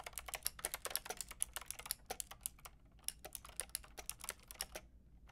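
A white-and-pink Lofree mechanical keyboard with round plastic typewriter-style keycaps and a hollow plastic case is typed on with long painted nails and fingertips. About 29 quick, bright, clacky keystrokes land in uneven bursts, with a brief lull near the middle. Each stroke stops almost instantly, with little low-end thump.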